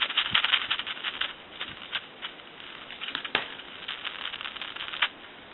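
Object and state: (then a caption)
Faulty telephone handset transmitter, crackles when shaken. Static crackle from the faulty original transmitter in the handset of a Northern Electric N233H three-slot payphone, heard as the handset is shaken on a live line. Irregular bright, scratchy bursts sit mostly in the upper midrange and treble, with a few sharper pops standing out. The crackling shows the transmitter is defective.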